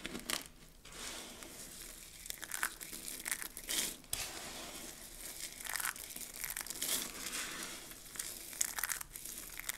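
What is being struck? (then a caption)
Pile of soap flakes. Hands gather, scoop and squeeze a pile of mixed dry soap flakes. The result is a steady, bright crinkling and crunching, with louder crushing bursts every second or so and almost no low end.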